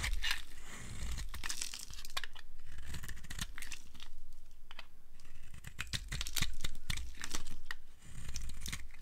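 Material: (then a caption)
Soap. A hand-sized solid bar of dry orange and white striped soap, held in the palm, is shaved with a short flat blade, and the curls pile up on a wooden surface. Quick, irregular dry scraping and crisp tearing crackles with bright, crumbly edges sit over a low, steady rumble.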